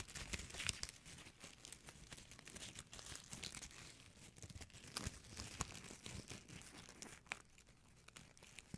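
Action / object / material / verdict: scrape / metallic plastic ribbon bow / metallic plastic / none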